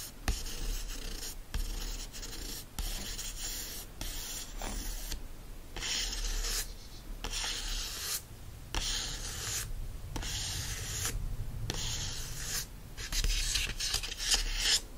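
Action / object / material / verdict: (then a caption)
scrape / cardboard hardcover book cover / cardboard / none. Fingertips and nails scratch and rub the front cover of a yellow hardcover book with a solid cardboard cover lying flat. Repeated bright, dry rasping strokes come in steady bursts separated by brief quiet gaps, with a soft low rumble underneath.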